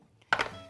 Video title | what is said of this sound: Gluten Free - Black Seeded Rice Bread - Easy Delicious And Nootritious! | when i tap on her she feels hollow